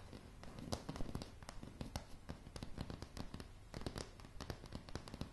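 Long polished nail tips tap rapidly and irregularly on a solid floor of light pine floorboards. The result is a quiet stream of short, dry clicks with a dull low body and almost no ring, with some taps sharper and brighter than the rest.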